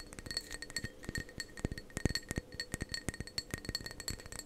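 Fingernails tap the sides and base of a hollow, apparently empty matte navy ceramic mug held in both hands. The result is a rapid series of about 28 short, dry clicks and clinks with almost no ring, overlaid by a faint steady high tone.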